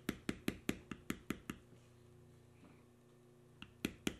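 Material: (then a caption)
Leather. A small steel beveler held in the fingers is tapped repeatedly into the carved knotwork lines of a solid tan veg-tan leather panel. Eight quick, evenly spaced dull taps with a bright click on top are followed by a quiet pause with a faint steady low hum, then three more taps.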